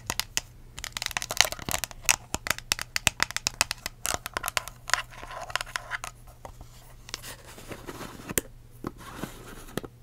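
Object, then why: Clear ridged plastic cup. A hollow, empty clear ridged plastic cup with a blue lid and a curly straw, held upside down and then sideways, is tapped and scratched with long acrylic nails. Dense, bright clicks and crinkly scratching rasps run throughout, with very short, dry taps over a faint low hum.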